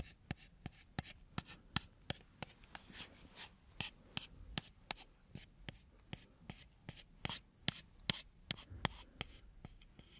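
A thin, solid, brownish wooden stick is held horizontally in one hand and scratched along its length with the fingernails of the other hand. About twenty short, dry, bright scratching strokes come at an uneven pace, each stopping instantly with no ring, over a quiet background hiss.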